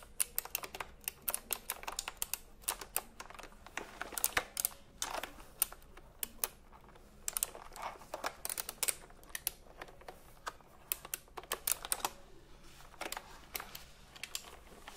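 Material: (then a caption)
Plastic. A retro typewriter-style computer keyboard with round plastic keycaps is held upright while several fingertips tap the keys rapidly. The result is a dense, uneven stream of short, bright plastic clicks that die away almost instantly, with little low-end weight.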